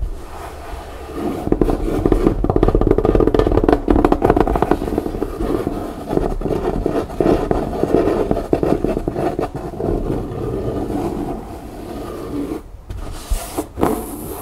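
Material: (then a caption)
Fabric, cardboard. Long nails rapidly tap and scratch the canvas-covered board bottom of an upturned, hollow fabric-covered cardboard storage bin, then grip its chevron-print side. The result is a dense, fast patter of dull, hollow taps and rough scrapes centred in the low-mid range. It eases into quieter rubbing near the end, broken by a couple of brief pauses.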